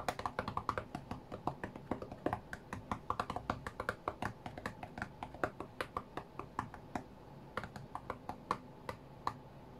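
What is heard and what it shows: Fingertips and nails tap quickly on the glass touchscreen of an iPad tablet lying flat on a cutting mat. Dozens of short, dry clicks and ticks with bright edges come in a fast, uneven rhythm over a faint low background hum. Each tap dies away almost at once.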